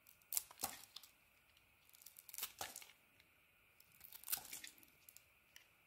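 A metal blade carves and scrapes slices from a solid, hand-sized bar of soap, pink and textured outside with an orange interior, held in one hand. Three quiet bursts of crisp, bright scraping and crackly cutting are heard, each made of rapid small ticks, with near-silent pauses between them.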